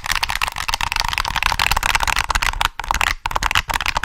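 Fingertips press the triggers and tap the body of a black, hollow plastic PS3 game controller held close to the mic. The result is a dense, bright stream of quick plastic clicks and taps, broken by a couple of brief pauses near the end.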